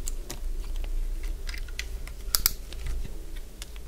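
A solid, cream-coloured bar of dry soap is shaved along its edges with a hand-held utility blade. It gives a series of short, crisp, bright crunching scrapes and clicks, with two sharper snaps near the end, over a steady low hum.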